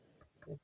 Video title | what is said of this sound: Short MSI GE76 Raider laptop review. | when I tap on it, it sounds kind of hollowed instead of nice and solid.